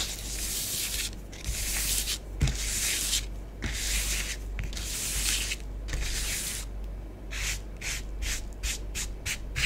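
Long fingernails on both hands scratch swirls through orange bath bomb powder spread on a tabletop. Bright, gritty rubbing strokes come in bursts separated by short pauses, growing shorter and quicker toward the end, over a low steady rumble.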